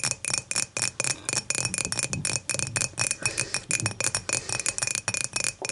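Long matte nails tap the sides and top of an empty dimpled glass beer mug, first standing upright and then lying on its side. The result is a rapid, steady run of short, bright glassy clinks that die away almost instantly, with a faint steady ring underneath.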